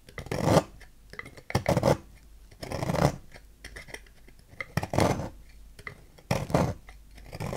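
A knife blade repeatedly cuts and scrapes a solid green oval bar of soap on a table, shaving it into curls. Short, irregular bursts of crisp, dry scraping and crunching, with a low body and a bright edge, are separated by quieter gaps. The shavings come away as the blade works through the bar.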